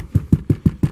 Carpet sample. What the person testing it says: You can shake it, hit it, and you can hear it.